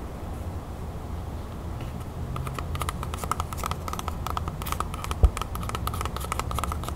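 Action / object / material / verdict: tap / whole apple / apple skin / none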